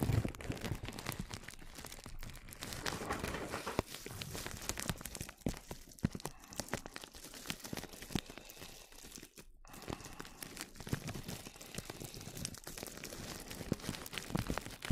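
A small brush with a black handle and turquoise bristles brushes and scratches across clear plastic cling film stretched over a microphone. Dense, crackling rustles and crinkly scratches run steadily for the whole clip with a dry, close sound. There is only a brief near-silent gap about two-thirds of the way through.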